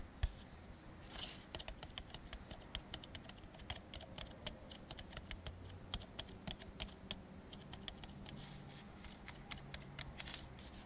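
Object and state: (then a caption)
Molded paper plate. An empty white molded-fiber paper plate resting on a wooden table is tapped and scratched with fingertips and short nails. A quick, uneven series of dry, bright clicks and taps plays, each dying out almost at once. A steady low hum sits quietly underneath.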